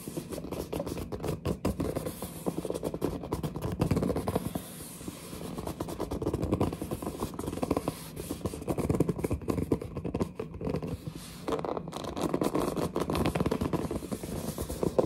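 Long nails and fingertips scratch and grip the printed front of a large glossy cardboard headset box held upright, making squeaky rubbing. Dense, continuous scratching and friction squeaks run throughout, mostly low and mid-pitched with little high-end brightness, pausing briefly near the middle before resuming.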